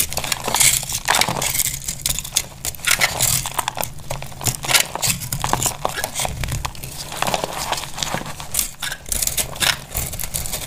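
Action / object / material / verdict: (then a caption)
scrape / bar of soap / soap / none. A palm-sized solid bar of dry lilac soap is held in one hand with long pink nails while a box-cutter blade carves and scrapes flakes off it. Many crunchy, bright cutting strokes crackle in quick succession over a low steady hum. Shavings pile up below.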